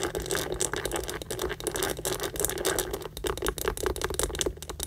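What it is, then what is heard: Pebbled leather handbag. Long nails rapidly scratch and tap the textured front of a hollow, tan pebbled-leather Michael Kors tote held close to the microphone. The result is a dense, dry patter of quick taps and crackly, bright scratching with a hollow, boxy body.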